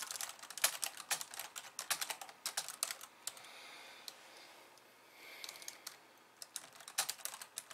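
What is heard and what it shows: Long polished nails and fingertips type rapidly with both hands on a compact pink and white plastic keyboard resting on a wooden desk. Bright, crisp plastic clicks and taps come in quick bursts, with a quieter stretch of soft hiss in the middle before the typing resumes.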